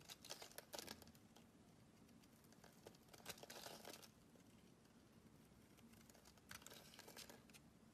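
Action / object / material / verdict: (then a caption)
scrape / bar of soap scraped with a metal blade / soap / none. A metal blade carves and scrapes shavings from the surface of a solid oval green bar of soap held in the palm. Quiet, crisp, bright scraping and crinkling comes in bursts: a cluster near the start, a longer stretch around the middle, and another near the end. Softer, sparse scratches fill the gaps between them.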